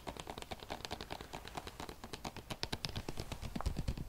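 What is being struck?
Plastic bottle.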